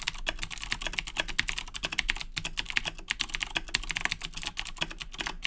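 Fingertips of both hands type continuously on a black Razer BlackWidow 2010 Edition mechanical keyboard with Cherry MX Blue switches and plastic keycaps, resting on a desk. The result is a rapid, unbroken stream of sharp, bright clicky key taps with very short decay and little low-end weight.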